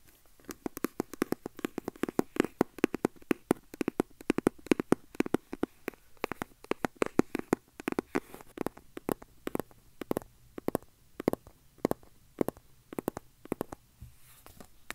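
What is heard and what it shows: Fingertips and nails tap and scratch the surfaces of a small, hand-sized, hollow red printed cardboard box with a black panel, held close to the mic. Quick, dry taps land in a dense, uneven run with a hollow, low-mid boxy tone, spreading out into sparser clusters in the second half. Each tap dies away almost instantly, with faint scratching between them.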